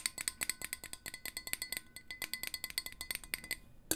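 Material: Stainless steel.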